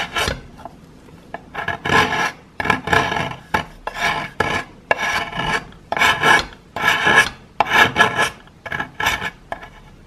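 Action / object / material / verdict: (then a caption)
scrape / plaster chunk scraped with a metal knife / plaster / none. A metal knife scrapes a solid chunk of plaster held in the fingers. Short, rough rasping strokes come in irregular bursts, gritty and bright with a faint ringing tone near 1.7 kHz and almost no low end. Each scrape stops dry between strokes.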